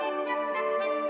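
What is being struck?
Nothing is struck.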